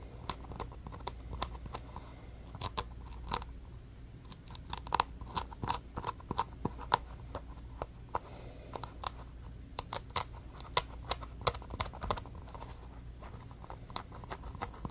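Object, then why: Small textured polyurethane foam stress ball. A small orange basketball-style stress ball made of solid polyurethane foam with a pebbled texture is scratched rapidly with fingernails and fingertips. Dozens of quick, dry, crackly scratches and sharp clicks tumble over one another, bright at the top, over a faint steady low hum.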